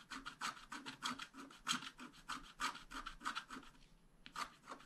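A wooden stylus scratches fine lines into the coating of a thin black-coated scratch-art card lying flat. Short, dry, bright scratching strokes repeat in a loose, uneven rhythm, with a brief lull near the end before a few more strokes.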